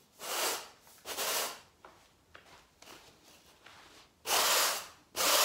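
A stiff-bristled garden broom sweeps a woven brown natural-fibre carpet along the skirting board, pushing debris across the floor surface. Loud, bright bristly swishes come in bursts, with quieter scratchy scuffs and small ticks between the strokes.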